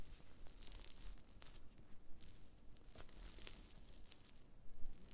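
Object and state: Dried wood ear fungus pieces.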